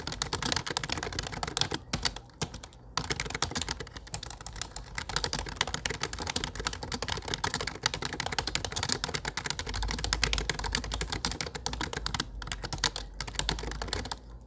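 Fingertips type quickly on a low-profile plastic computer keyboard with dark plastic keycaps, producing a steady stream of bright, dry tapping clicks. The typing runs continuously for about fourteen seconds, with brief pauses near the two-to-three-second mark and again late in the clip.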